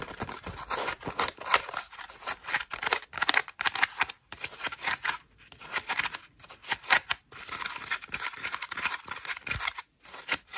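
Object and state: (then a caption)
Foam bath loofah. A cream foam bath loofah is squeezed, then scratched with long nails across its ruffled foam petals. The result is a dense, bright, crackly scratching made of rapid short bursts, with almost no low end and a few brief silent gaps between passes.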